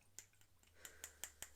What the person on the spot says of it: not metal, but it's a type of hard plastic that almost sounds like glass